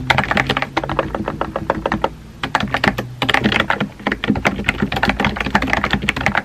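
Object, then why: Plastic computer keyboard. Fingertips type on a compact pink plastic keyboard with round white keycaps. A steady, rapid run of short, dry clacks with bright tops, each key tap dying away almost at once, with a faint low hum underneath.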